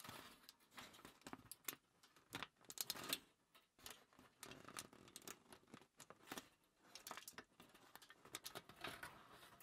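A crumpled thin aluminium foil sheet lies on a table while fingers with long nails crinkle it and pinch its edge. The result is a quiet, continuous stream of sharp, bright crackles and rustles with very little low end, rising in short louder bursts.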